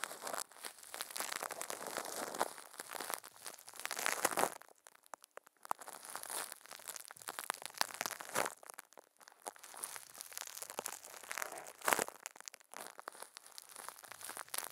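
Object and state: Plastic wrap crinkled over a microphone.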